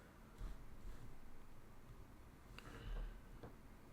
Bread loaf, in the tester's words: And I just tap the bottom. Make sure they were done. Nice and hollow.